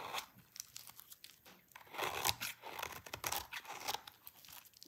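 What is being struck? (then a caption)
Bar of soap shaved with a blade. A hand-sized, solid, light pink bar of dry soap is held in the hands and shaved with a utility knife blade, scraping off brittle curls. The result is a run of dry, crisp scraping and crunching strokes with a bright, papery, tearing texture and almost no low end. Each stroke stops dead with no ring.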